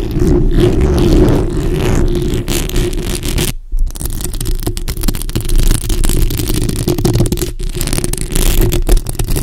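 Long acrylic nails scratch both sides of the hollow metal mesh grille on a black bare microphone. The result is a dense, low, rumbling scrape with scattered faint clicks, broken by brief silent gaps near 3.6 and 7.5 seconds.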